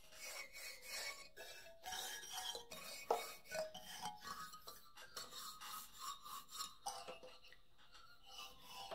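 Fingernails scratch the solid hardwood bars of a wooden xylophone lying flat, producing a steady, bright rasping texture. Short pitched tones from the bars ring out briefly around 700 Hz between the scratches.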